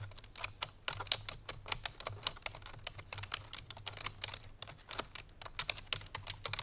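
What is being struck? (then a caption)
Plastic computer keyboard. Fingertips and medium-length painted nails of both hands type quickly on a full-size black plastic computer keyboard resting on a white fur rug, with rhinestone tumblers sitting untouched beside it. The keys give a steady, uneven stream of short, bright, clicky taps that die away almost instantly, over a faint low hum.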